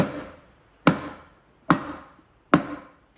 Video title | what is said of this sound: How to Properly Install Hubcaps and Skirts | When it's down, it thunks. It's a deeper, lower noise